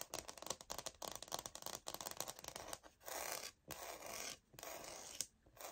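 Long nails scratch along the textured grain of a light oak, wood-look laminate floor plank sample held upright. A quick run of short, bright, scratchy ticks gives way to several longer, steady scraping strokes, all dry and high with almost no low end.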